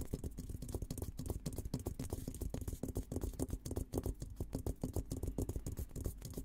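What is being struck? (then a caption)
Steel military helmet shell. Fingertips scratch and tap across the top of a hollow, olive-green painted steel military helmet. The result is a rapid, uneven stream of soft, low, hollow knocks with a faint low resonance. The scratching between knocks is dry, and each tap dies away almost instantly.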